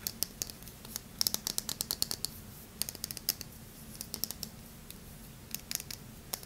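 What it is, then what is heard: Hard bar soap scratched with fingernails. Medium-length painted fingernails and fingertips scratch and rub the smooth surface of an unwrapped, palm-sized, solid oval bar of hard yellow Yardley lemon soap held in the hands. The result is clusters of sharp, bright, dry clicks and scratches with almost no ring, separated by short pauses over a faint low hum.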